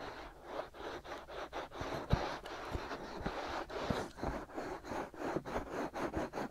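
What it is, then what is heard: Silicone ears of a binaural microphone being scratched. Fingertips and short nails scratch and rub the soft, hollow-shaped white silicone ears on both sides of a black binaural microphone body. The result is a steady run of rhythmic, close, breathy scratching strokes with low thumps and a dull rubbing texture.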